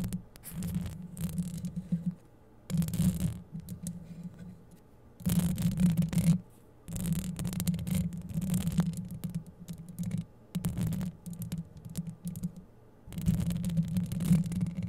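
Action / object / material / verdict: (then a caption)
scrape / metal wire-mesh microphone grille / metal mesh / none. Long yellow acrylic nails scratch and rub the hollow metal wire-mesh grille of a microphone, using both hands. Bursts of dense, scraping friction come with a low, throbbing hum, broken by short quiet pauses between them.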